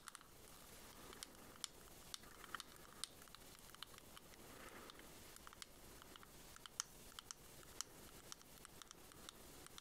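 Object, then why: Small hard plastic shell-shaped case. Long fingernail tips tap on a small, hollow, white ribbed shell-shaped pearl case of hard plastic held in the hands. The result is a quiet stream of quick, light, bright clicks and ticks, with a few sharper taps, over a soft, steady hiss. Each tap dies away almost instantly.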